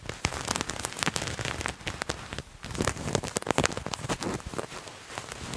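Fingernails scratch and rub a purple patterned fabric garment bunched in both hands. Dense, crackly scratching bursts run throughout, dry and bright with no ringing, easing briefly about halfway before resuming.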